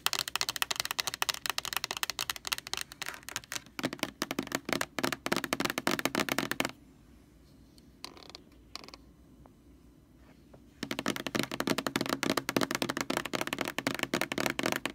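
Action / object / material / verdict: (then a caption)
tap / large plastic bottle / plastic / none. Long nails rapidly tap and scratch a large white plastic Lysol laundry sanitizer jug and its label, first with the jug upright and then lying on its side. The clicks and scrapes are dense, bright and dry, with no ring. They run for about six and a half seconds, fall to near silence with a couple of soft touches for about four seconds, then resume at the same busy pace.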